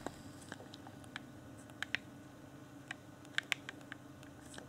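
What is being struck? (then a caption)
Clear plastic game controller. Fingertips tap and click the buttons of a hand-sized, hollow, transparent plastic Xbox One Afterglow game controller. About fourteen short, dry, bright plastic clicks with no ring, centered near 2.2 kHz, sound over a low, steady hiss.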